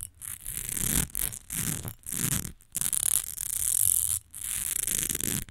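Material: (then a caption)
Glass. Long nails scratch and tap the sides and face of a rectangular glass perfume bottle with a fine-lined texture and liquid inside, standing on a fur rug. Bright, hissy scratching comes in quick bursts separated by short pauses, with soft low thuds underneath from the taps.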